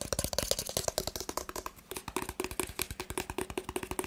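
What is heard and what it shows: Fingertips and nails tap rapidly on a rigid white cardboard smartphone box with a printed front, making about 32 quick, dry clicks with very short decay. Each tap has a hollow, boxy resonance around 540 Hz and a bright, crisp edge, and the rhythm runs fast and steady with only a brief pause in the middle.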